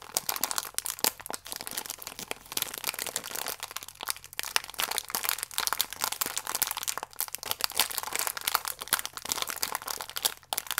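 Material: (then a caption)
Plastic film. A small, full plastic-film biscuit pack is held, squeezed and crinkled with fingers and nails. Dense, bright crinkling and sharp crackles run continuously for about eleven seconds, with quick snaps that die away almost instantly.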